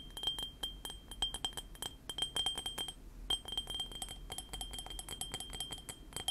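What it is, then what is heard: Ceramic mug. A small, hollow white ceramic mug printed with Panda Kopanda cartoon figures, held in both hands, is tapped rapidly and irregularly with painted fingernails. The taps make quick, bright glassy clinks, each carrying a short ring near 3.2 kHz over a soft low background. There is a brief pause around the three-second mark before the tapping resumes.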